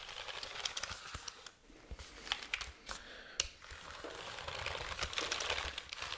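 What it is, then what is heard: Plastic keyboard casing tapped and scratched. Fingertips tap and scratch the back casing of a hollow black plastic keyboard held vertically beside the microphone. The result is a quick run of short, dry, bright clicks mixed with high scratchy rustling, with brief quieter gaps between bursts.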